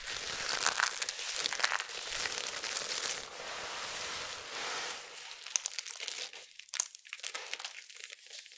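Bare hands dusted with white starch scoop, squeeze, crush and rub a large pile of small, dry, brittle amber soap flakes on a flat surface. The result is dense, bright crinkling and crunching that runs steadily for about five seconds. It then breaks into sparser, sharper crackles and crunches.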